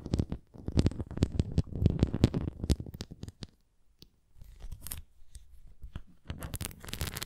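Long nails scratch the rim and bumpy surface of a red plastic flying disc toy, producing quick rough scratches and clicks with a dull, low body. The scratching falls nearly silent for a moment midway, then resumes in softer, sparser strokes before building again into brisk scraping at the end.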